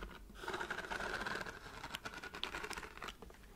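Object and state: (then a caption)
Pleated paper lamp, tapped and scratched. Long white nails tap and scratch across the ridged pleated paper folds of a glowing pleated paper book lamp held close to the mic. Dense, crackly papery scratching and tapping fill the clip, with a steady midrange rasp and a few sharper, brighter taps standing out.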